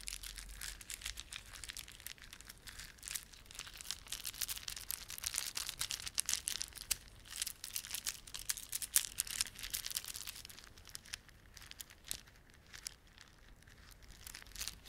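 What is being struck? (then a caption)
Plastic beaded ornament. A plastic beaded ornament is rubbed and squeezed by fingertips, giving a quiet, dense stream of bright, crinkly clicks and rustles. The clicking is busiest through the middle and thins out toward the end.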